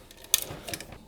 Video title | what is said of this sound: UNREAL 1999 Dream machine! ABIT BP6 build and overclocking | there is something loose inside